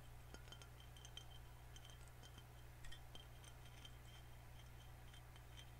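Fingernails tap around the neck and cap of a full green glass soda bottle, making quick, light glassy clinks that ring briefly at a high pitch. The tapping is quiet over a steady low hum.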